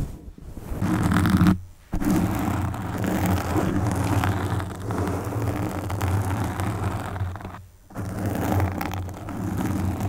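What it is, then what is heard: Foam microphone windscreen being scratched. Long pink acrylic nails on both hands scratch and stroke the soft, porous black foam windscreen of a desktop USB microphone. The result is a dense, muffled, low rumbling scrape with almost no high content, broken by two brief near-silent pauses around 1.7 and 7.8 seconds.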